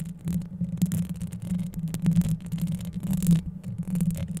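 Long yellow acrylic nails scratch quickly over a microphone's hollow metal wire-mesh grille held close to the camera. The result is a dense, low, throbbing rumble centered around 170 Hz. Rapid uneven scraping bursts run through it, with faint bright crackles on top.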